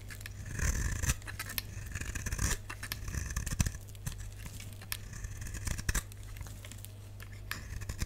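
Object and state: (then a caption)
Dry bar soap being scraped and cut. A solid, dry lilac bar of soap held in the hand is scraped and cut with a utility knife blade. It makes dry, crisp rasping and crunching strokes with bright, brittle edges over a steady low hum. Louder, sharper cuts stand out among the continuous scraping.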